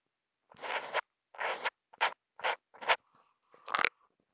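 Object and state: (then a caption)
Marker drawing on thick Kent paper. A black Posca marker nib, held in the fingers and picked up by a contact mic on the marker, draws short hatches and dots on a flat sheet of thick white Kent paper. Seven separate dry, scratchy bursts are heard: the first two are longer strokes, the rest are quick ticks, and the sixth is faint. The texture is a bright, papery rasp that stops cleanly with no ring.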